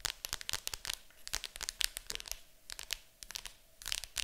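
Long acrylic nails scratch and tap on the lid of a large, hollow, printed cardboard board game box. Quick, dry, bright clicks and scratchy rasps come in uneven bursts with brief quiet gaps, each sound stopping at once with no ring. A faint, steady low hum sits underneath.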